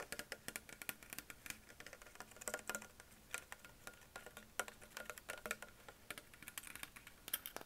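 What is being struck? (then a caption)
Plastic sparkling water bottle. A hollow green Perrier PET plastic bottle with a ridged base is tapped on its upper body with fingertips and nails. The result is a quick, uneven stream of light, dry clicks and ticks with a bright edge and almost no ring, rather like soft typing.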